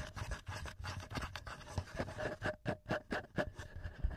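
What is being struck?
Metal microphone capsules and plastic body of a handheld recorder.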